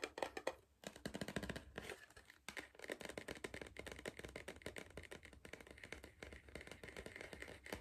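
Fingertips tap and scratch the side wall of a tall, hollow Pringles cardboard crisp tube while it is tilted. Quick, dense, dry taps with a hollow mid-pitched tone run continuously, mixed with soft scratchy rustling. The taps die away almost at once and stay quiet throughout.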